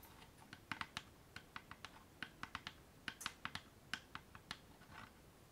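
Long polished nails tap and scratch the front and sides of a small hollow wooden keepsake box with a metal latch, held up in both hands. About twenty quick, crisp clicking taps with a bright knock near 1.5 kHz die out almost instantly, and a soft scratch is heard near the end.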